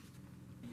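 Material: Nothing is struck.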